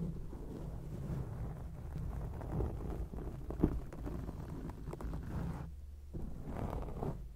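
The tips of long acrylic nails scratch a round grey foam microphone windscreen, making a dense, muffled, low rumbling scrape with soft crackles and one sharper click partway through. The sound stays dark and bass-heavy with almost no high content, briefly thinning out near the end before the scratching resumes.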